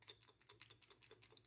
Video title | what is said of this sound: How a rotating nozzle works (pressure washer) | I shake it it's rattling so I know it's free